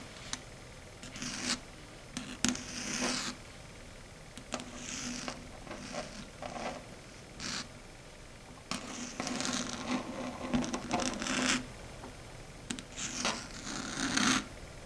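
Long red stiletto nail tips scratch and drag across a flat, matte, dark grey chalkboard. Bursts of bright, hissy scraping come in irregular strokes separated by quiet pauses, some carrying a steady low squeal around 250 Hz.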